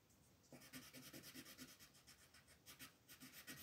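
A pink wooden colored pencil shades a flat white paper coloring page on a table in short, repeated strokes. After a quiet half second, the strokes make a steady, bright scratchy rasp that pulses in rhythm, with each stroke ending quickly.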